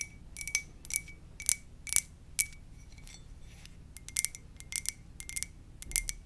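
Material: Ceramic.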